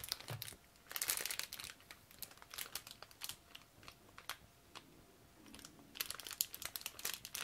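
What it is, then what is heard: Plastic parts bag. A small clear plastic bag holding small plastic parts from a Tamiya Mini 4WD Panda Edition kit is crinkled and rubbed between latex-gloved fingertips over the open kit box. Bright, crisp crackles and rustles come in bursts, densest near the start and again toward the end, with quieter ticks in between. The sound is soft and close, with almost no low end.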